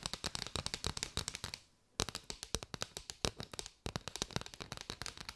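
Long white nails tap and scratch on a bundle of striped hollow paper straws, making rapid dry, crisp clicks with bright high-end crackle and almost no ring. The tapping runs in quick bursts, with two brief pauses before picking up again.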